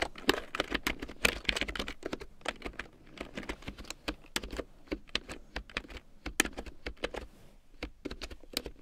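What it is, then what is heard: Plastic keyboard being typed on. A full-size large-print keyboard with a black plastic frame and big yellow plastic keycaps, lying on faux fur, is typed on with long painted nails. Rapid, bright clicky taps come in bursts with some short pauses between them. Each click is dry and dies away almost at once.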